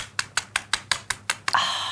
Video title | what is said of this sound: NBN News Newcastle 09-10-03-2025 and 9NBN Newcastle Commercials and 7 and 10HD Newcastle Commercials | And that chicken is cooked to perfection. Listen to how crispy this skin is.